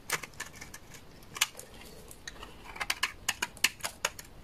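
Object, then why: Laundry soap bar shaved with a blade. A utility knife blade shaves curled shavings from a large, solid, beige bar of dry laundry soap. The result is a quiet series of short, dry, crisp crackles and scrapes. Each is bright and high with almost no low end, and dies away instantly, spread unevenly over a few seconds.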